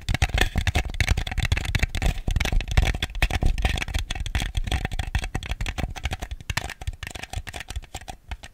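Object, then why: Small ribbed plastic bowl. A small ribbed white plastic bowl, hollow and empty and held on its side, is tapped rapidly with fingernails on its outer wall. The result is a dense, continuous run of short, dry clicking taps with a hollow low thump beneath them and almost no ring after each tap.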